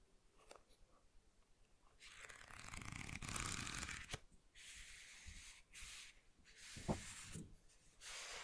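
Fingertips tap and scratch the glossy dust jacket and edge of a small, solid paperback manga, Koe no Katachi volume 2. Quiet scattered taps give way to longer bursts of bright, dry scratching on the glossy cover, broken by a few sharp knocks.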